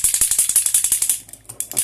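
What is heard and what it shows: A makeup spray bottle is shaken by hand to mix its contents before use, giving a fast, bright, clicking rattle. The rapid shakes run steadily for about a second, then grow fainter and more scattered before a few stronger shakes near the end.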